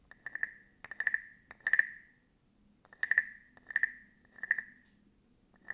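A small, hollow, carved wooden frog guiro with a ridged back is held in one hand and scraped along its ridges with a small wooden stick. It gives short, raspy, croak-like bursts centred around 1.8 kHz, played in uneven clusters with quiet gaps between them.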